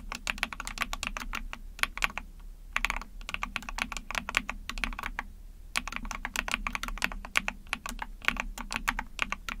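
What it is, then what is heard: Plastic mechanical keyboard. Rapid typing with long painted nails and fingertips on a small 44-key Epomaker TH40 mechanical keyboard with an ABS plastic case, PC plate and backlit pink and white keycaps. Quick runs of bright, sharp plastic clicks pause briefly about a third and halfway through, over a faint low steady hum.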